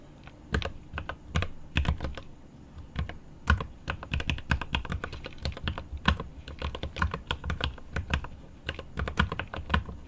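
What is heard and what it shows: Fingertips of one hand type rapid key taps on a 75% GMMK Pro mechanical keyboard with milky yellow switches, plastic keycaps and an aluminum case. The taps come in quick, uneven bursts, each a short, sharp clack with a deep thocky body and a bright edge that dies away almost instantly.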